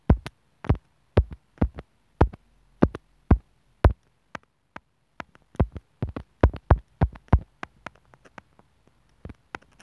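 A thin steel sewing needle taps and scratches on top of a small white plastic inline microphone and remote from an earphone cable, near the mic hole. The hollow housing is lying on a bamboo wood table. Around 29 separate, very short hits sound as deep, muffled thumps with a faint click on top, some strong and some faint, in an uneven rhythm with quiet gaps between them.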